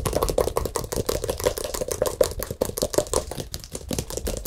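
A large rectangular acrylic-painted stretched canvas with a hollow back, painted with a Buddha and a yellow moon, is held in front of the mic and tapped quickly on the front with the fingertips. It produces a rapid, continuous run of soft, dull, hollow taps with a faint drum-like ring near 500 Hz that dies away almost instantly.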